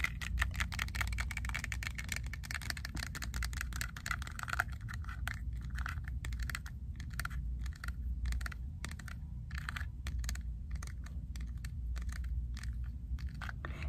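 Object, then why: Plastic safety goggles. Fingertips of both hands quickly tap and scratch the frame and clear lenses of small, hollow, black-framed plastic safety goggles worn on the face. The result is a rapid stream of dry, clicky plastic ticks and scratches over a steady low rumble.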